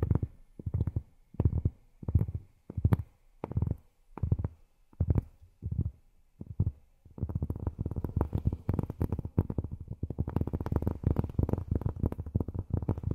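Long fingernails tap on cork, first in a slow series of separate soft, dull knocks, then from about halfway in as a fast, continuous flurry of light taps. The sound is low and muffled with almost no bright content and no ring after each tap.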